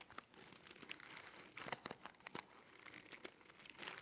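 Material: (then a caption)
Cardboard. A small, hollow orange cardboard box held in both hands is tapped and scratched with fingertips and nails. The result is a quiet, steady run of dry, crinkly taps and scratchy rustles, bright and papery with almost no low end. Each tap stops at once, with no ring after it.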